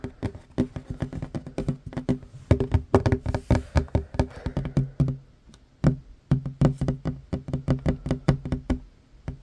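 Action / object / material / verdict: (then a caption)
tap / wooden tabletop / wood / none. Fingertips and short nails of one hand tap quickly on a solid wooden tabletop. The result is a rapid, uneven run of dull, low knocks with very short decay and almost no ring, punctuated by brief pauses.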